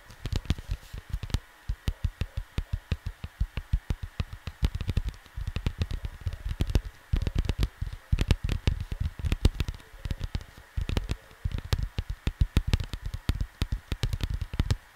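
Fingertips tap and scratch the lower area of a cardboard vinyl record sleeve, producing rapid runs of dull, low thumps that stop instantly, with bursts of brief scratchy rustling between them. A faint steady tone hums underneath throughout.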